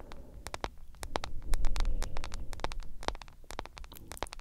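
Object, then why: Smartphone with glass screen in a silicone case. Long acrylic nails tap and scratch the black glass screen and edge of a hand-sized smartphone in a yellow silicone case. Quick, irregular clicks with a bright edge cut through a steady low rumble, with soft scratchy brushing between them.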